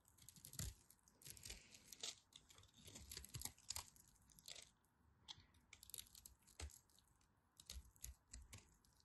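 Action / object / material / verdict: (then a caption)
scrape / bar of soap / soap / none. A solid pink-and-white striped bar of dry soap is held in the fingers while a blade carves crunchy cubes off the end. Quiet, bright, dry crunches and cracks come in uneven bursts, with brief soft scraping between cuts.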